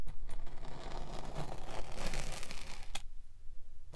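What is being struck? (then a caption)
Kinetic sand block. A metal spiked pinwheel is rolled repeatedly over the top of a solid pink kinetic sand slab, scraping and pricking the sand. The result is a soft, steady, grainy crackle with a low rumble underneath, and a sharp tick near the end before it drops quieter.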